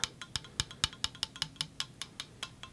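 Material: Metal.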